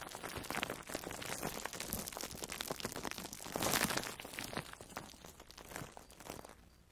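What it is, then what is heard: Foam sponge wrapped in plastic cling film. A palm-sized, orange-slice-shaped yellow and orange foam sponge with cut holes, soft and porous and wrapped in plastic food wrap, is held in both hands and squeezed and rubbed with long manicured nails and fingertips. It makes a dense, bright run of crinkling and crunching plastic that swells to its loudest just before the four-second mark. The crinkling then thins out and fades toward the end.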